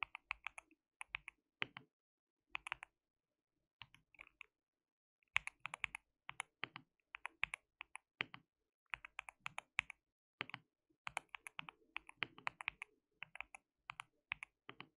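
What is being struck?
Mechanical keyboard with plastic keycaps.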